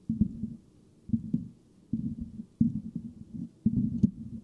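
A metal mesh microphone grille is scratched by the fingertips of both hands in five bursts of scraping. The sound is low and muffled, a rumbling, crackly rasp with a dull hum around 200 Hz and almost nothing bright, with short pauses between the bursts.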